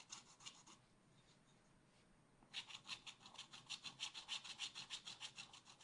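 A wooden stylus scratches a black-coated scratch art card in a spiral pad with fast back-and-forth strokes. A short burst of dry, bright rasping opens the clip, then falls quiet for about two seconds. The strokes return as a steady, rhythmic run of high scratching to the end.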